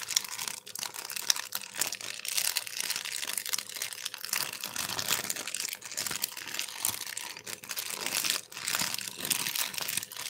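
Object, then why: Thin empty plastic bag. A thin, translucent, empty plastic bag is crumpled and rubbed between black-gloved fingers. It makes a steady, crisp, high-pitched crinkling with dense crackles that swell and fade in bursts over the whole clip.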